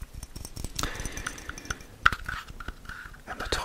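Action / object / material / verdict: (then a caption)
tap / glass perfume bottle / glass / none. Tinkly tapping on a katana-shaped gradient glass perfume bottle gives a quick run of light, short clicks. The clicks carry a bright ring near 1.4 kHz and fade almost at once. One sharper tap stands out just after the two-second mark.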